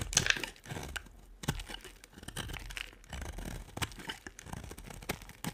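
A solid, cream-coloured dry bar of soap held in the hand is carved with a small metal blade, and the shavings pile up behind it. The clip is a run of dry, crisp scraping and crumbly crunching strokes with bright, papery detail. Short, sharp cuts stand out between the softer shaving passes.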